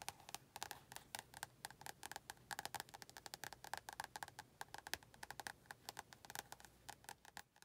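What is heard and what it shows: Long nails tap rapidly on the glossy card front cover of an orange and yellow paperback book held upright. About 48 quick, crisp clicks come in uneven bursts, each dying almost instantly, with a hollow tone near 1.7 kHz and a bright top. The tapping stays quiet and close throughout, with little low end.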